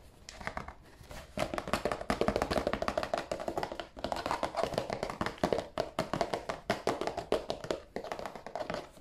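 Fingernails tap rapidly and steadily at close range on the end panel of a hollow, glossy cardboard tissue box. The result is a dense stream of short, dry clicks and knocks with a hollow midrange tone and almost no ring.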